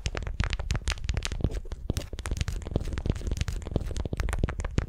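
A candy-shaped beeswax-coated cotton wrap around a wooden sphere is gripped and twisted with long nails, giving a dense run of stiff, waxy crinkles and crackles. The rapid snaps carry a heavy low thump beneath brief bright clicks, and each dies away almost instantly with no ring.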